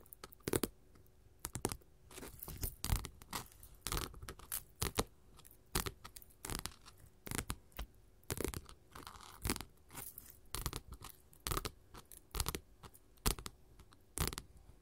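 Long pointed gold metal claw finger jewelry on both hands scratches and taps flat glitter faux leather sheets, multicolored strips and a green sheet, lying on a table in front of a recorder. Quiet, dry, crinkly scratches and brief taps come in irregular bursts with no ring.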